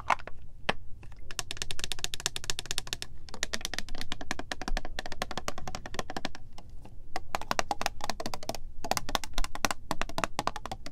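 Long nails tap rapidly on the gold cap and body of a clear, square, partly filled plastic Supermodel body mist bottle. The result is a steady stream of short, bright, clicky taps, coming in bursts with brief pauses, over a constant low hum.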